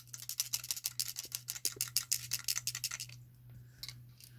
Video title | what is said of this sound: James Cooper LED Light Bulb [UPDATED REVIEW - PART 2] | when you actually shake it, yeah, something is rattling around in there. So something's come loose in that one